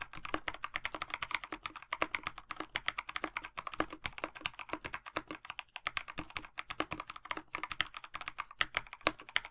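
A 65% mechanical keyboard with a black plastic case, white blank PBT keycaps with one orange key, and lubed linear switches sits on a desk mat while fingertips of both hands type on it. Continuous, rapid key taps with short, dry clacks that are mostly bright and mid-toned with little low end, and each stroke dies away almost instantly.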